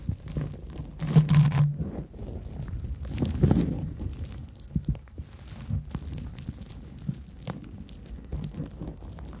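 A large, porous yellow cellulose sponge, soft and light, is held over foam-covered microphones and scratched and squeezed with long nails and fingertips. Dense, irregular crinkling and crunching scrapes sit mostly low, with brief swells of louder squeezing throughout.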